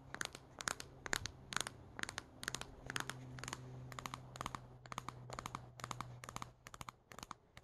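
Long painted nails tap and scratch the velvety fabric face of a small, brown, stuffed and squishy Squishmallow-style plush teddy bear with a black felt hat, resting on a wooden table. Quick, irregular bursts of crisp, bright scratching and tapping follow one another rapidly over a steady low hum.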